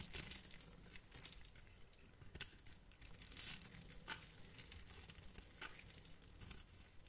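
A metal knife scrapes the surface of a hand-sized, translucent clear yellow glycerin soap bar held in the hand and cuts small cubes from its end. The result is quiet, bright, crackling scratches and crisp carving sounds with a tearing, crinkling texture. Each cut stops short with no ring.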